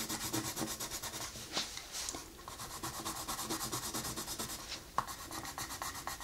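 A colored pencil rubs and scratches across a flat paper coloring book page in quick, steady shading strokes. The result is a rhythmic, dry, bright scratching hiss, with a couple of sharper ticks standing out along the way.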